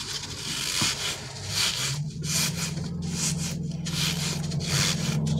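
A green, soft, solid gel-filled rubber crocodile stress toy is pulled long and rubbed between the fingers and thumbs. The rubbing makes repeated bright, hissing friction swells over a steady low hum around 100 Hz.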